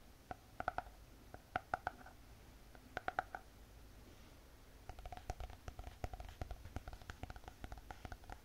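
Long painted fingernails tap and scratch on a closed spiral notebook with a hard cardboard cover. Quick clusters of sharp, dry taps with a hollow mid tone near 730 Hz come first, then a denser, faster run of taps with light scratching. Each hit dies away almost instantly.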